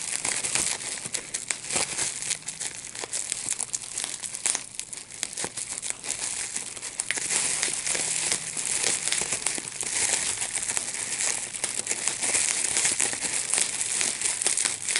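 A large sheet of clear plastic bubble wrap with small air bubbles is held in both hands while the bubbles are popped by pinching them with the fingertips and thumbs. Steady bright crinkling runs throughout, broken by many quick, sharp pops that crackle in dense clusters with almost no low end.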